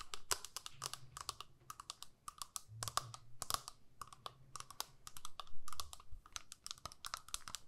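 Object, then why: Small plastic eyeshadow palette lid. Long nails tap and scratch the clear lid of a small square plastic eyeshadow palette with visible pans. The result is a fast, irregular run of short, dry clicks with a bright edge and scratchy brushes in between, over a faint low hum.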